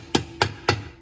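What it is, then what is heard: Plastic bell base, sounds cheap. The plastic base of an Edwards MB10-24 motor fire bell is tapped three times, giving short, dry knocks with a hollow, low tone. Each knock dies away almost immediately and sounds cheap next to the all-metal base of the Edwards 439D.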